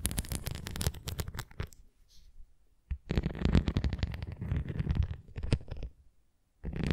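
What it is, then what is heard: Plastic ring toy scratched with nails. Nails scratch the nubs of a red plastic flying ring toy, then the ring is turned edge-on and its rim is scratched. Bursts of dense, rapid, dry scratching with a low, rumbling body are broken by brief quiet gaps.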